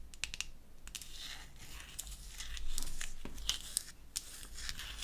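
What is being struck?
Small painted wooden toy bottle.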